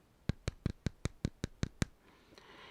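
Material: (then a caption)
Plastic. Nine quick, evenly spaced taps on the chest of a plastic Anti-Monitor action figure give short, dull knocks with a low, solid thud and almost no ring, confirming the figure is solid rather than hollow. A faint rustle follows after the taps stop.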